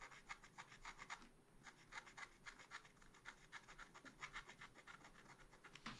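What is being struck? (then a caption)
Coated scratch art paper scraped with a wooden stylus. A wooden stylus, held flat, scrapes lines across a black-coated scratch art paper page in a small spiral pad. A rapid series of short, dry, bright scratching strokes comes in uneven bursts, with a brief lull just before the two-second mark, and the scratching carries on to the end.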